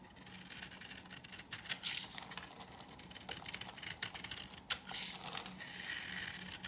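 A knife blade scrapes a hand-held, dry pink bar of soap with an embossed logo, shaving off curls. The sound is a dry, bright, crackly scratching with quick, sharp clicks and a faint low hum underneath.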